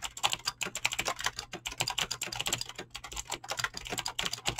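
A full-size mechanical keyboard with Razer green clicky switches and dyed PBT plastic keycaps, resting on a desk, is typed on fast with fingertips and short nails. It produces a continuous stream of sharp, bright clicks and clacks with very little low end. Each keystroke dies away almost instantly.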